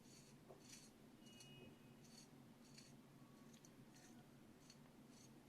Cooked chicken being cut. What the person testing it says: ça sonne croustillant à l'extérieur